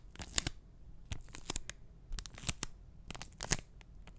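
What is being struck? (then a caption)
Enamel pin on a cardboard backing card. A small flat printed cardboard backing card with an enamel pin, held upright in front of the mic, is tapped and scratched with fingertips and short nails. The result is a quiet, irregular run of short, dry taps and scratchy rustles with bright, crisp high ends and a faint low thump under each touch.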